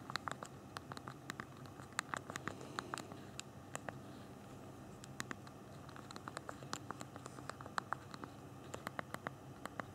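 Thumbs tap the small plastic keys of a handheld BlackBerry phone's physical keyboard while typing. The result is a quiet, irregular stream of short, sharp, bright clicks that die away almost instantly, with brief pauses between bursts over a soft, steady low background.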